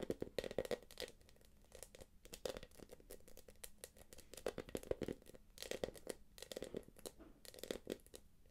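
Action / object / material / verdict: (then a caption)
tap / small quilted plastic purse / plastic / none. Long nails tap and scratch the quilted top of a small, hollow, light-blue quilted glossy plastic purse. Quick clusters of crisp, crinkly clicks and scrapes have a hollow tone around 500 Hz, each tap dying away almost at once. Brief quiet pauses separate the bursts.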